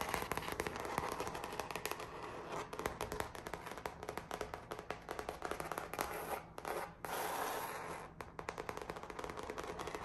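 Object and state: Painted canvas artwork.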